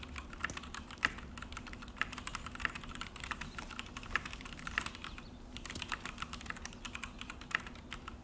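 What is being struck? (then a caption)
Plastic mechanical keyboard. Both hands type steadily with fingertips on a full-size Akko mechanical keyboard with an orange plastic case and black plastic HyperX keycaps, resting on a desk. The result is a fast, uneven run of short, crisp, bright clacks that die away almost instantly, with a few harder strokes standing out over a faint low rumble.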